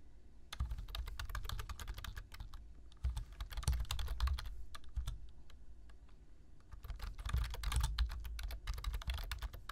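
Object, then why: Plastic computer keyboard. Two hands type with their fingertips on a black plastic computer keyboard, tapping the keys in quick bursts. The taps are short and dry, with bright clicks over a soft, deep thud. There is a brief lull around the middle before the typing picks up again.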